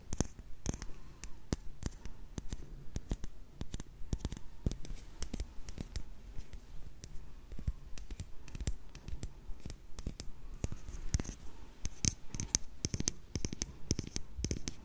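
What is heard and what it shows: A small, hollow, closed black and red plastic lipstick tube, possibly with a metallic finish, is held in both hands while long nails tap and scratch along its body. The result is a steady, irregular stream of quick, dry clicks and bright scratches with almost no ring, over a low background rumble.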